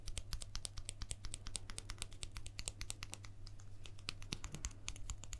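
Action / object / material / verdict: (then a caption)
tap / plastic guitar pick / plastic / none. A guitar pick that was used on stage and thrown into the audience is tapped quickly and unevenly, making a dense run of short, sharp clicks with little ring. A steady low hum sits underneath throughout.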